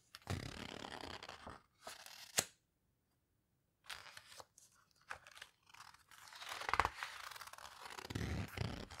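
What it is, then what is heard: Paper photo book being handled. Fingertips squeeze and rub the heavy paper pages of an open paper photo book and turn one, making dry, crinkly rustles and scrapes with bright, papery texture. Bursts of rubbing are broken by a brief sharp crackle and a short silent pause, then the rustling returns and builds into a fuller, louder stretch of page handling at the end.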